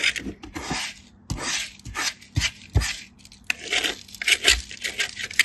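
A hand-sized white bar of soap, held in a hand with blue-painted nails, is rubbed back and forth across a small stainless steel hand grater. Repeated bright, rasping scrapes come in short bursts, with soft low thumps at some strokes. Fine soap shavings pile up on a green surface.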